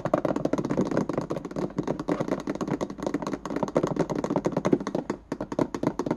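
Fingernails rapidly tap and scratch across the ridges of the white ribbed plastic lid of a small hollow index card box held in both hands. The result is a dense run of dry, hollow clicks and scrapes with almost no ring, centered in the low-mid range, with a brief lull near the five-second mark before the tapping resumes.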